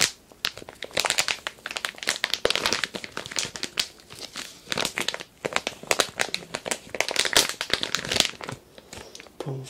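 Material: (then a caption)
Plastic. A medium glossy printed plastic toy-sand package (Areia Divertida) filled with kinetic sand is held in both hands and crinkled and rubbed with fingertips. Dense, bright crackling and crinkling comes in bursts of rapid, dry clicks with almost no low end. The bursts swell and fade across the clip.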